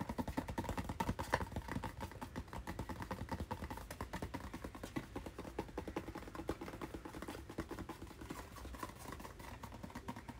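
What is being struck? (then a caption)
Cardboard retail package. A hand-sized, hollow white and blue cardboard retail package with a hang tab is held in one hand and tapped and scratched with fingernails. The result is a steady stream of quick, irregular, dry taps and scratchy rustles with a hollow, papery knock around 900 Hz over soft low thumps. Each tap dies away almost instantly.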